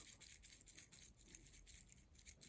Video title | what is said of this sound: Porsche OEM Parts = Made in China?! Faulty 986 Boxster Headlight Switch | sounds like a bunch of sand in there